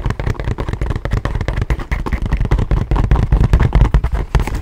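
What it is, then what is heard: Leather satchel bag, tapped. A small, hollow tan leather satchel with buckled straps and brass hardware is held close to the mic and tapped and scratched with fingertips and nails. The result is a rapid, uneven stream of short, dull, low thumps with dry scratching between them.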